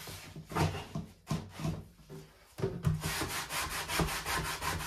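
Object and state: Plastic dish drainer rack being scrubbed.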